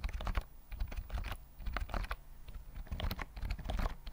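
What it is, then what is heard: Plastic keyboard typing. A full-size white plastic keyboard with round mint keys and a hollow body, held near the mic, is typed on with fingertips. Quick, uneven runs of short clacks come with a deep, hollow thump under each press, and every tap dies away almost at once.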